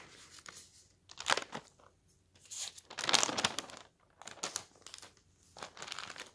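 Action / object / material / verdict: scrape / newspaper, paper / paper / none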